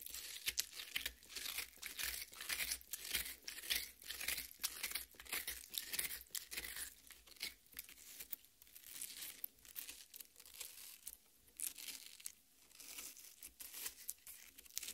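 Long red nails dig into and scratch the red flesh of a half watermelon resting on a plate. The result is a dense run of bright, wet crunching and tearing crackles in irregular bursts, with almost no low end.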